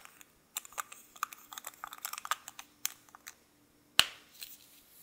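A small gold-coloured metal lipstick case with lipstick inside is held in both hands by the fingertips, its cap clicked on and off the tube while a second lipstick lies still in the background. A rapid series of light, bright, dry ticks and taps is heard, with almost no low end. Near the end comes one sharp, louder click that fades into a soft brushing rustle.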